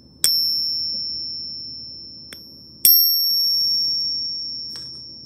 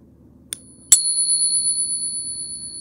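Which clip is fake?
The first.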